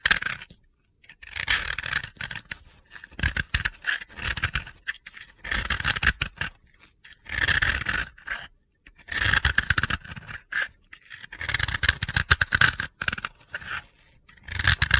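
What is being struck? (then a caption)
Bath bomb (pressed soap powder ball). A utility knife blade scrapes powder off the cut face of a hand-sized, solid white, crumbly sphere of dry powdery soap (a bath bomb) held in the hands. Bursts of dry, gritty scraping and crunching come in strokes separated by brief pauses.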